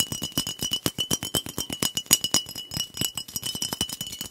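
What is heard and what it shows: Fingernails tap quickly and irregularly along the body of a glass soda bottle with a blue cap, held horizontally. About 34 short, dry clicks sound in just over four seconds, each with a thin bright ring near 2.9 kHz that dies away almost at once.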